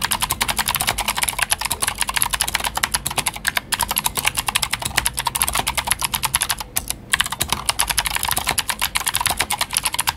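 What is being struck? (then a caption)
Plastic mechanical keyboard with clicky switches. Fingertips of both hands type steadily on a full-size white Glorious GMMK White Ice mechanical keyboard with plastic keycaps and clicky Gateron Blue switches. The result is a rapid, continuous stream of crisp, bright clicks with very short decay, broken only by brief pauses near 3.6 and 7 seconds.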